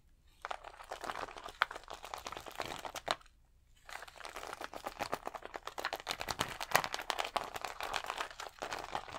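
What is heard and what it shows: Fingertips and nails scratch across a thin plastic sheet of colored acrylic rhinestone stickers pressed to the chest, making a dense run of dry crinkling, ticking scratches centered in the mids with a bright edge. The scratching stops for about half a second near the middle, then resumes slightly louder and busier until the end.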